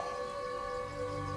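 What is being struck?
Nothing is struck.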